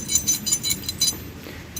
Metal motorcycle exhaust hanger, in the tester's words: jalankan ternyata tuh pasti jeduk jeduk yang longgar